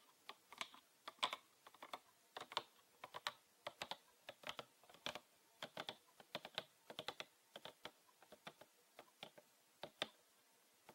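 A green PET plastic bottle with a red cap, full of liquid, is held upright and then sideways while being tapped with fingernails. The result is a quick, irregular run of dozens of short, dry, bright clicks with almost no ring and little low end, sounding much like typing on a keyboard.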